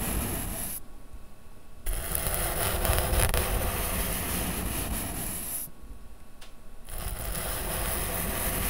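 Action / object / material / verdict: scrape / corrugated cardboard sheet rubbed with a soft brush / cardboard / none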